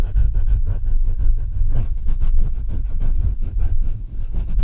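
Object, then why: Microphone with metal mesh grille. Fingertips rub and tap the metal mesh grille and upper body of a black Blue Yeti microphone. The result is a steady run of deep, muffled thumps and scraping rumbles, almost entirely low in pitch, with brief strokes blurring into one another.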